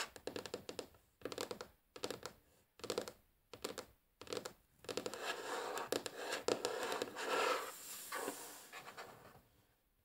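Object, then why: Wooden tabletop. Long fingernails of both hands tap and scratch across a solid, flat, light wooden tabletop in a typing-like motion. Short bursts of quick, crisp clicking taps separated by brief pauses give way to a steadier, continuous scratching that fades out at the end.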